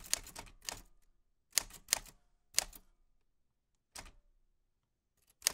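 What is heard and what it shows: White-gloved fingertips press the round keys of a black 1940s Smith-Corona portable typewriter with a metal body and paper loaded. Bright, sharp key clicks and typebar strikes come in short, irregular bursts separated by silent pauses, each strike dying away almost instantly.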